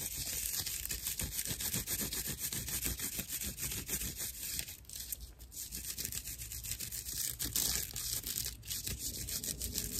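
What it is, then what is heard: Dry natural loofah sponge. Long nails scratch and squeeze a dry, hand-sized natural loofah, a fibrous plant sponge with hollow chambers. The result is dense, rough, bright scratching and crackling, with rapid, uneven strokes at about three per second. There is a brief quieter lull around the middle.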